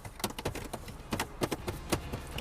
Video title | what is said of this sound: Volvo S60 - Trải nghiệm thực tế và những chia sẻ chân thực về xe phiên bản năm 2020 | this trim piece right here it sounds really hollow when you tap it